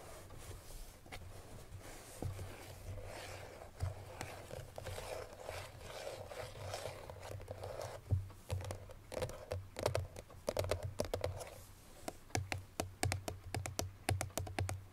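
Fingernails scrape and tap across the front face of a hollow cream paperboard Chloé perfume box that holds its bottle. A continuous papery scratching with a midrange hollow tone fills the first half over a steady low hum, then gives way to quick, dry, separate taps that stop short with almost no ring.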